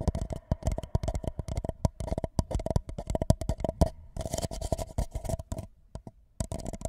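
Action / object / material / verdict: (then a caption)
tap / paper cup / paper / none. An empty white paper cup held over the microphone is tapped along its sides with the fingertips. It makes a rapid, uneven run of short, hollow, low thuds with a faint steady tone underneath. The taps thin out to a brief pause near the end before resuming.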